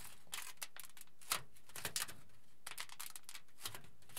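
A crinkled aluminium foil sheet, held at its edges by both hands, is folded and pleated with the fingers. It makes quiet, irregular bursts of bright, crackling crinkles separated by short pauses, the loudest flare coming a little past the first second.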